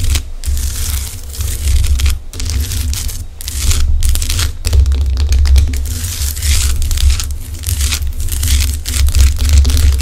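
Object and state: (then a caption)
Himalayan rock-salt lamp. Long acrylic nails on both hands scratch and tap the rough surface of a large, solid pink Himalayan rock-salt lamp. A dense, crackly scraping texture with bright, gritty edges runs throughout, over a steady low hum. Brief quieter pauses break up the continuous scratching.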